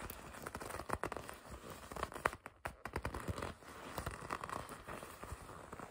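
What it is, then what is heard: Leather jacket being gripped and scratched. Long red nails grip and scratch a red and black leather racing jacket with white stripes. A quiet, steady run of crinkling creaks and dry scratchy crackles, with a few sharper squeaky grips standing out briefly.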